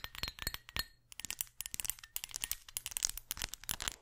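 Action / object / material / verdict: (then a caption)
tap / small glass perfume bottle with metal cap / glass / none. Long acrylic nails tap on a small, clear, round glass perfume bottle with a metal cap, hollow and mostly empty, held in the hand. A rapid series of bright, sharp clicks and clinks rings only briefly, with a short pause around the one-second mark before the tapping resumes.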